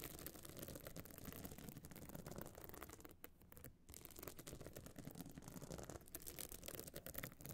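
Long nails scratch and tap the bumpy surface of a small, hard, pebble-encrusted metal-frame clutch bag covered in glued stone chips, standing open and hollow. The result is a dense, steady stream of fine, gritty scratching and rattly clicks with a low, hollow body, easing briefly in the middle before carrying on.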